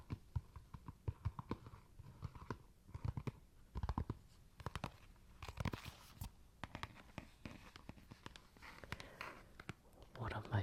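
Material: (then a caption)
Plastic. Fingertips tap on the plastic case of the Wii game Super Smash Bros. Brawl, producing many quick, dry, low-pitched taps with almost no ring. Scratchy rustling fills the gaps, and a few louder clicks and a brief burst of friction noise are heard near the end.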